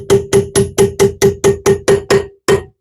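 A metal brake pad retaining pin in a Ferrari brake caliper is tapped in with a drift, giving 11 separate sharp, ringing ticks with a clear tone around 395 Hz. The last tap, after a short pause, sounds solid, showing the pin is fully seated and needs no more force.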